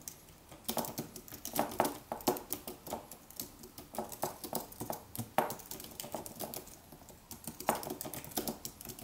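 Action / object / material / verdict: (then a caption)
tap / aluminium wireless keyboard with plastic keys / plastic / none. A slim Apple wireless keyboard with an aluminium body and white plastic keys, resting on a white desk, is typed on with fingertips in continuous taps. Quick, dry plastic clicks with a mid-range knock near 900 Hz and bright edges come in an uneven, steady stream, with occasional louder strokes standing out. Each tap dies away almost at once.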